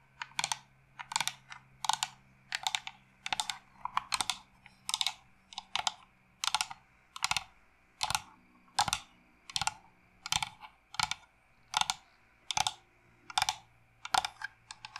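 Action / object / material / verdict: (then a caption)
tap / carved wooden incense box / wood / none. A hollow carved wooden incense box, held upright and then lying flat, is tapped rapidly with long nails. Short bursts of quick, dry, clicky taps repeat at a steady pace, bright with a hollow tone around 785 Hz and almost no ring, over a faint low hum.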